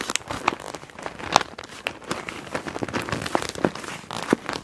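A clear PVC zip pouch printed "Wind Blows," full of plastic felt-tip markers and resting on a black cloth, is gripped and squeezed with long nails and fingertips. Its plastic crinkles and crackles steadily, broken by sharp, bright clicks where the markers inside may rattle against each other.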